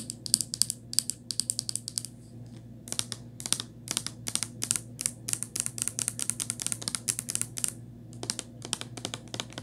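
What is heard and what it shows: Long nails tap and scratch along the cap and body of a small white plastic Crest toothpaste tube, which is hollow and flexible. Quick, crisp, bright clicks come in rapid clustered runs with a brief lull near the two-second mark. A faint, steady low hum sits underneath throughout.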